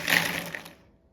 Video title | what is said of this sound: बाजार से हमेशा के लिए लाना भूल जाओगे जब घरपर बनाओगे इस तरीके से बेहद ज्यादा क्रिस्पी स्वादिष्ट - | see how crispy it is